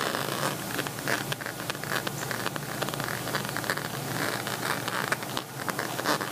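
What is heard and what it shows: Fingernails and fingertips scratch across the bumpy plastic bead front of a beaded pixel-envelope cosmetic pouch held up in the air. The result is a continuous, dense, dry rasp of tiny rapid clicks and scrapes, bright and crackly with a steady level throughout.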